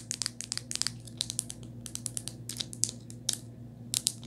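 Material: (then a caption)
Plastic. Long white nails tap and scratch the back of a rose-gold hard plastic phone case with a metal ring holder. The result is a quick, irregular run of short, bright clicks and scratchy ticks with almost no ring, over a faint steady low hum.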